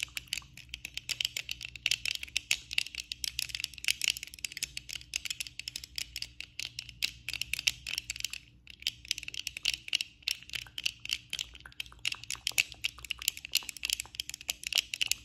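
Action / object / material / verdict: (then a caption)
tap / plastic eyeglass frame and lenses / plastic / none. Fast tapping with long acrylic nails on the frame and lenses of worn black plastic eyeglasses makes a dense stream of sharp, bright clicks. The clicks die away almost instantly, with a brief lull just past the halfway mark before the tapping resumes. A faint low steady hum sits underneath.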